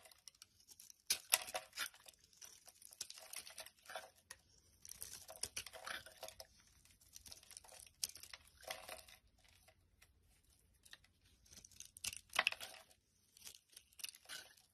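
A hand-held, solid, translucent amber glycerin soap bar is shaved and carved with a metal utility blade, peeling off flakes. Quiet, bright, crisp scraping and crackling come in short bursts separated by brief pauses, with almost no low end and no ring after each stroke.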